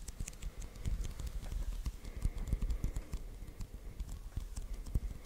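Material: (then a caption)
Adhesive paper. Fingertips press and slowly peel on the white adhesive paper roll of a handheld sticky paper lint roller, making a dense run of soft, low tacky taps and crackling releases. Faint bright clicks sit over the low thumps, and each sound dies away almost instantly.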